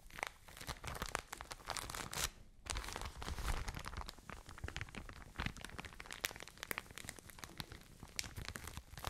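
A full, medium-sized soft plastic package of cotton wool is held close to the mic and squeezed and crinkled with long nails and fingertips. It makes a dense, continuous stream of dry crinkles, crackles and tearing-like rustles that spread from low to bright highs. There is a brief quieter pause just after two seconds before the crinkling resumes.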